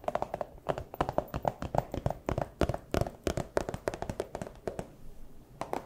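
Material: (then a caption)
Plastic. A small, empty clear plastic pouch is crinkled and tapped with fursuit paw claws, making about thirty quick, dry, crisp taps in an irregular rhythm. Each tap is short and clicky with a bright edge, and soft plastic crinkling fills the gaps between them.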